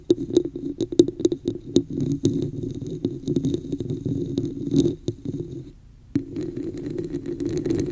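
Long acrylic nails tap and scratch the sides and top of a hollow red textured plastic cup placed over the microphone. Sharp clicking taps mix with a muffled, boomy scratching that resonates around 340 Hz, with faint high ticks above. The sound briefly drops to near silence before a steady scratching resumes.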